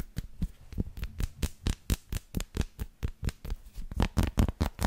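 Long lilac nails tap and scratch a solid dark chocolate bar with a bumpy, dotted surface, held in the hands. About 22 quick, dry taps come at an uneven but brisk pace, each a soft low thud with a bright, crisp click that dies away almost at once. Faint scratchy texture sits between the hits, and the last few strikes are a little louder.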